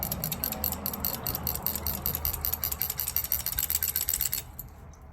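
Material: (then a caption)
Metal. The fuel line of an MSR Whisperlite International camping stove, removed and shaken, rattles with quick, uneven metallic clicks for about four and a half seconds before stopping. The rattle comes from a small weight loose inside the line, which shakes free soot and unclogs the stove.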